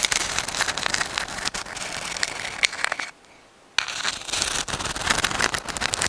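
A dried white sand dollar, a palm-sized, thin, flat and hollow calcium carbonate skeleton, is held in both hands in front of the microphone and tapped and scratched with long acrylic nails. The result is a dense, bright, crackly stream of quick clicks and scrapes with almost no low end. It stops for a near-silent gap of about half a second midway, then resumes.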